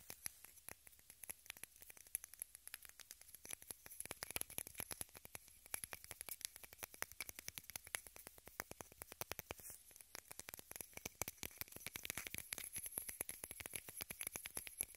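A small rectangular pink plastic case, held in both hands, is tapped and scratched with long red nails. The result is a dense, quiet stream of fast, crisp clicks and light scratching. The sound is mostly bright, with a steady high hiss underneath.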